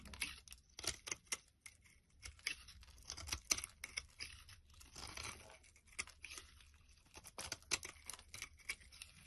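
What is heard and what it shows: A knife blade carves and scrapes slabs off one end of a solid pale green bar of soap held in the hand, and the flakes fall onto a wooden surface. Quiet, crisp, bright scraping and shaving strokes come in quick bursts with short pauses, almost entirely high in pitch with very little low end.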